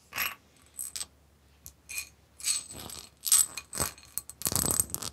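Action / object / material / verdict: tap / etched glass bowl / glass / none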